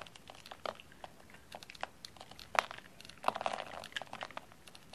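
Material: Soap.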